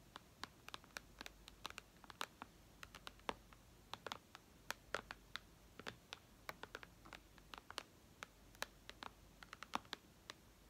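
Long red nails tap and lightly scratch the glass screen of a white iPad lying flat, about 47 quick, separate taps over the clip. Each is a quiet, sharp, bright click that dies almost instantly, with soft scratching between taps and little low end.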